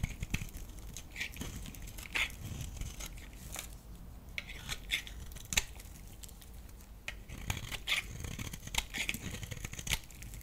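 A solid oval lilac bar of soap is held in hand and scraped and carved with a metal utility blade, flakes breaking off. Dry, crisp scraping and crackling sounds with sharp bright ticks come in irregular bursts over a low, steady rumble.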